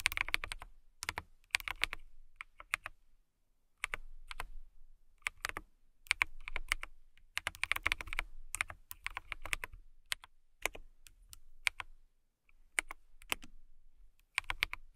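Typing on a transparent acrylic mechanical keyboard with clear plastic keycaps, struck with long nails and fingertips. Bursts of quick, bright clicky keystrokes come in clusters with short pauses between them. Each click is sharp and dies away almost instantly.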